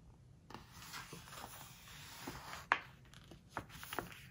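A large open hardcover book with glossy paper pages has a page turned, then a flat palm and fingertips rub and squeeze the glossy spread. Quiet, bright papery rustling and smooth rubbing run throughout, broken by one sharp crisp snap of paper about midway and a few softer squeaky touches near the end.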